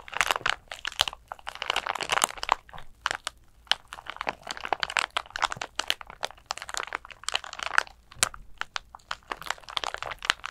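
A flat glitter clutch bag covered in coarse gold and purple glitter is held in both hands and scratched and squeezed with long nails. The result is a steady stream of dry, bright crinkles and sharp crackles with almost no low end.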